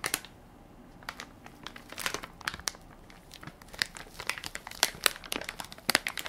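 Fingertips and short nails press, scratch and crinkle the crinkly plastic film of a hand-sized Equate baby wipes soft pack with a white plastic lid, full of wipes and held flat in one palm. Quick, bright crackles and crinkles come in irregular bursts with almost no low end, each snapping off instantly against a quiet background.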